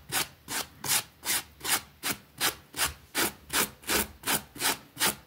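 A pink plastic bristle brush scrubs back and forth across a small, flat, green fabric rug with a rabbit print, lying wet and soapy on a concrete floor. Thirteen bright, scratchy swishes follow one another in a steady rhythm, each short stroke rising and fading quickly with little low end.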